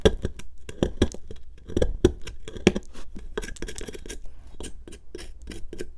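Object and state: Plaster excavation block being scraped.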